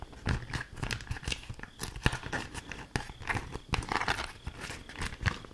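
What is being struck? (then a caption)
Beeswax-coated fabric wrap. A thin, stiff, patterned green fabric food wrap coated in beeswax is held up, crinkled and scratched with long acrylic nails. It makes a continuous run of dry, crackly crinkling and scratchy rustling, broken by quick, sharp snaps that stop almost at once.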